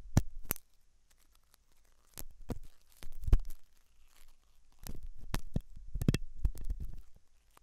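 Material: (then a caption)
Silicone. A hooked metal dental tool scratches inside the ear canal of a white, translucent, soft solid-rubber silicone ear model, likely mounted on a binaural ear microphone. Irregular bursts of close, crackly scraping and rustling come with deep, muffled thumps and brief bright clicks, separated by short near-silent pauses.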